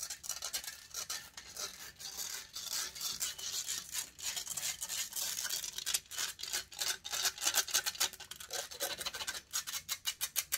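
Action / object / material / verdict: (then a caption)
scrape / metal mesh microphone grille / metal mesh / none. Long fingernails scratch aggressively across the hollow metal mesh grille of a silver condenser microphone. The result is fast, uneven bursts of dry, bright scratching and rasping with almost no low end, growing sharper and louder toward the end.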